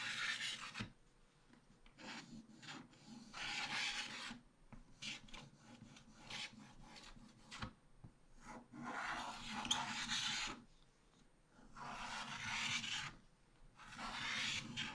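A wooden stylus scrapes long strokes across a black-coated scratch-art card page in a small spiral book, leaving black flakes collecting on the table. The result is a bright, dry rasping scratch that comes in sustained bursts separated by short quiet gaps and lighter, quicker scrapes.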